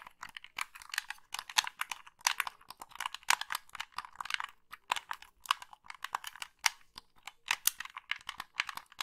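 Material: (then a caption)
Plastic. Long pink nails tap and click the colored buttons and thumbsticks of a hollow, black plastic Xbox-style gamepad. The result is a steady stream of quick, dry, bright plastic clicks and taps, with no low end and almost no ring after each one.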